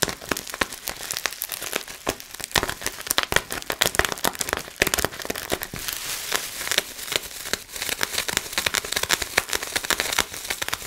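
Clear plastic bubble wrap bunched in both hands is crinkled by the fingers and its bubbles popped. A dense run of sharp, bright crackles and snapping pops comes with almost no low end. Each burst dies away instantly, leaving a steady rustling texture for about eleven seconds.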